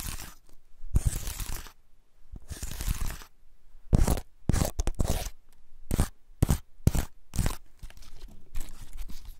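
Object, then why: Woody pine cone. Fingertips scratch and flick the scale tips of a large, elongated, dry woody pine cone with open scales, held cradled in the hands. Dry, crunchy, scraping bursts come in quick irregular clusters, each with a sharp, bright crackle that stops almost instantly and no ring, separated by near-silent pauses.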